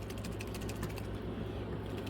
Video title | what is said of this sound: Dark Angels of Death Reloading Assault Marine Painting | There's like a thing inside that shakes with it. You can probably hear that, you know, rattling around.